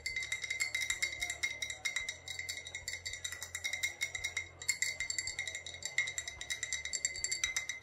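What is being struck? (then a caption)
Glass bottle. An old glass bottle with a faded sticker, holding either vodka or rubbing alcohol, is tapped and clinked in rapid runs for the whole clip. Dense, bright, ringing clinks sit around 2.1 kHz with higher overtones. Each tap decays quickly over a faint low hum.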